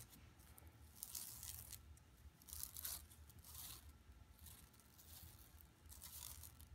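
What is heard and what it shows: Long nails scratch across an empty, flat yellow woven plastic mesh tote bag lying on carpet. Bright, raspy scratching comes in repeated swells over a steady low hum.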